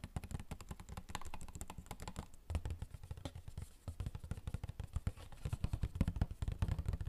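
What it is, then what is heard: Cardboard tissue box. Fingertips tap fast on a hollow, rectangular cardboard Royale tissue box held up close to the camera. The result is a rapid, uneven stream of dry, hollow thuds with a deep body around 90 Hz, each tap dying away almost instantly.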